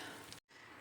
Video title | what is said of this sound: LOKMALIK PEYNİRLİ ÇITIR BÖREK ♥️KAÇ TANE YEDİĞİNİZİ SAYAMAYACAKSINIZ💯AŞIRI LEZZETLİ | şu anda çok sıcak ama çıtır çıtır sesini duyuyor musunuz